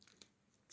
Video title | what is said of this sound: 📣ANNEMİN ASIRLIK TARİFİ☑️ ISPANAK MEVSİMİ 😍GELİNCE TEPSİ TEPSİ YAPIYORUM YİYENLER BAYILIYOR 👍#keşfet | üstü hafif çıtır bakın çıtır dıyor içi yumuşacık